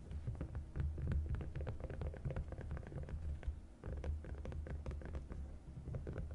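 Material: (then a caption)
Silicone. A green silicone divided suction placemat is rubbed and traced along its raised compartment walls with fingertips and long nails. The result is a low, muffled, throbbing rumble of dense soft scrapes and quick tapping clicks, with a brief lull just before the four-second mark.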